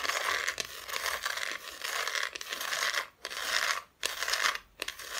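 Long fingernails scratch and tap on the bare, unfinished wooden back of a flat, solid Christmas decoration cutout held close in front of the microphone. The dry, bright scratching rustles almost continuously, with little low end, quick taps mixed in and a few brief pauses.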